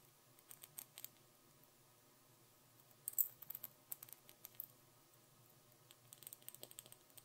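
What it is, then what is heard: Bead-covered glass ornament tapped with nails. Long nails rapidly tap and scratch the top half of a small hollow glass Christmas bauble covered in glued tiny pearl beads, with white fluff inside. The result is quiet, bright, dry clicks and ticks that come in three loose bursts, about twenty short taps in all. Each tap dies away almost instantly over a faint low hum.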